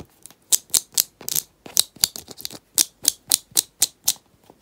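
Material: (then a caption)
Plastic. Lilac-painted fingernails quickly tap and scratch around the side and lid of a small round teal plastic cosmetic tub with a paper label and a rubber band wrapped around it, held in the hands. Around fifteen crisp, bright clicks and scrapes come in an uneven rhythm, almost entirely high and dry with no low end and no ring.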